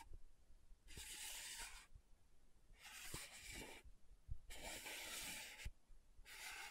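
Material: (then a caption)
Plastic. Long nails scratch the dark purple lid of a small, round, clear-bodied plastic loose powder jar. Four bursts of bright, hissing scratching come in turn, separated by quiet gaps with faint low taps and thumps.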